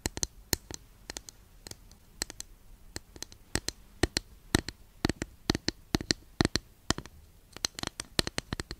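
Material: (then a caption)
Wood. Long nails tap a long, flat, thin, solid wooden incense holder held at an angle. The result is dozens of quick, dry, bright clicks in an uneven rhythm, each dying away almost instantly over a quiet background.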